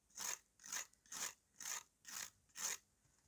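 A steel knife scrapes the dry, powdery face of a solid, flat piece of dried red mud held in the hand. Six even, gritty rasping strokes come in a steady rhythm, each a bright, hissy scratch with almost no low end. Every stroke stops cleanly, leaving short quiet gaps between them.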